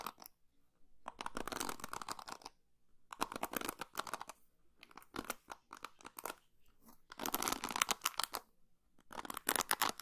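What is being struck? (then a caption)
Plastic paddle hairbrush with plastic pins. Long pink fingernails scratch and strum across the white plastic pins of an orange and blue plastic paddle hairbrush held in one hand, close to the microphone. Quiet bursts of dense, bright, crackly scratching and clicking come in waves, separated by short pauses.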